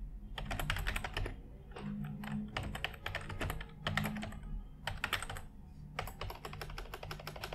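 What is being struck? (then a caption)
Plastic computer keyboard. A white full-size plastic computer keyboard is typed on with the fingertips of both hands. Dense, bright key taps come in quick bursts with brief pauses between them, over a steady low hum.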